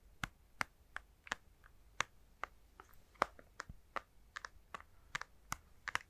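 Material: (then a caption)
Plastic. A plastic handheld Nintendo Switch console with Joy-Cons attached is held close and tapped with fingertips. About sixteen quick, dry plastic clicks with almost no ring have a hollow midrange tone and some bright edge, spaced irregularly over a quiet background.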